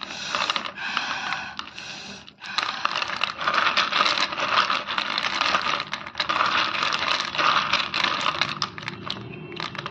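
Bare fingers stir, rub and clack a handful of small solid white naphthalene mothballs soaked in kerosene in a bowl. The result is a dense, bright stream of hard clicks, rattles and wet scraping with almost no low end, briefly dipping around the two-second mark before continuing steadily.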